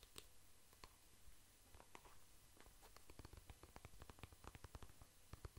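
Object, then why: Soft plastic cream tube. A soft plastic cream tube is held in the hands and tapped and scratched with the fingertips. It makes quiet, dull ticks and faint scratchy rustles over a low, muffled background. The touches are sparse at first, then become a quicker, steadier run of short taps.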